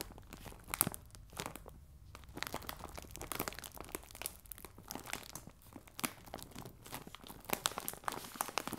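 A clear plastic bag full of biscuits resting on a table is rubbed and scratched with fingers and nails. The result is a steady run of soft, dense crinkling and rustling, broken by sharp, bright crackles and brief crunchy bursts.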